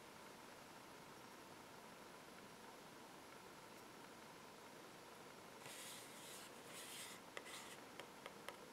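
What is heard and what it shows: Fingertips and short nails scratch and tap the front and back of a small, hollow, empty-looking cardboard puffy paint box with a clear plastic window, held in the hands while other paint bottles sit nearby untouched. After a quiet, faint hiss, bright dry scratching comes in short bursts, followed by a few sharp, crisp taps that stop dead with no ring.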